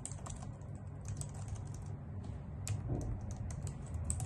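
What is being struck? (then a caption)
Plastic computer keyboard. A full-size white plastic computer keyboard with low-profile keys sits on a wooden desk while both hands type on it with long acrylic nails. Fast, clicky key taps with bright ticks ride over a steady low hum.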